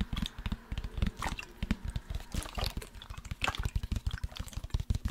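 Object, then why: Plastic sports water bottle. A large, hollow black plastic sports water bottle with a blue cap, holding liquid, is tapped and scratched along its side by fingertips and nails. Rapid, dry, low thuds come in irregular bursts, mixed with brighter scratching and faint liquid sloshing.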